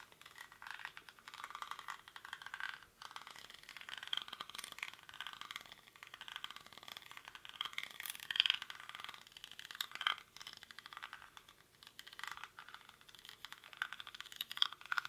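Fingernails scratch and tap quickly across the weave of a hollow, cylindrical woven rattan/reed basket held in both hands. The result is a dense, dry, crackling rattle that is bright and thin with almost no low end, peaking around 3.3 kHz. It runs continuously for about fifteen seconds, swelling into louder bursts of scraping along the way.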